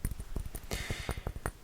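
Fingernails tap an empty, used-up 100 ml diamond-shaped orange glass Tommy Bahama cologne bottle. A quick series of dull, low taps dies away almost at once, with a brief bright rustle partway through.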